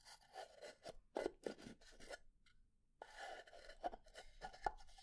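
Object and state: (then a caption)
Pine wood box. A pine wood box is slowly scratched and tapped, and its wooden lid knocks wood-on-wood. Quiet rasping scratches mix with short, dry knocks that die away almost at once, with a brief silent pause partway through.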